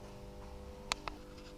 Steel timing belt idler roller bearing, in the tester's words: слышно как в нем трясутся шарики этого быть не должно